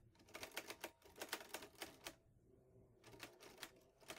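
Fingertips type steadily on the keys of a vintage teal metal Underwood Olivetti Lettera 22 portable typewriter with paper loaded. About 16 sharp, bright clacks are heard in two bursts, separated by a short pause around the middle, each strike dying away almost instantly.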